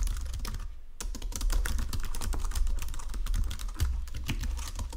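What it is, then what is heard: Plastic computer keyboard. Fingertips with painted nails type across a full-size white and silver plastic Logitech keyboard with low-profile keys resting on a marble desk. A rapid, steady stream of short, crisp clicky key taps is heard, with a brief pause just before the one-second mark, over a constant low hum. The keystrokes die away almost instantly.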